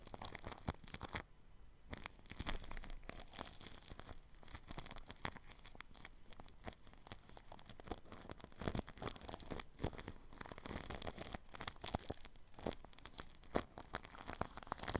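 A paintbrush with a red handle and white bristles brushes and scratches clear plastic cling film wrapped tightly over a spherical microphone with a metal mesh grille. Dense, rapid crinkling and scratching contact noise sounds close on the mic, with a brief near-silent pause just after one second before the brushing resumes.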